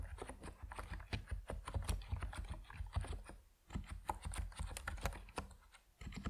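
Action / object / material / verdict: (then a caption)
tap / mechanical keyboard with plastic keycaps / plastic / none. An Epomaker NiZ Plum Atom 68, a 68-key compact mechanical keyboard with white and purple PBT plastic keycaps, sits on a wooden desk while the fingertips of both hands type on it. Rapid, dry, short keystroke taps run in a steady stream with a low, rounded body and faint bright clicks, pausing briefly near the middle and again just before the end.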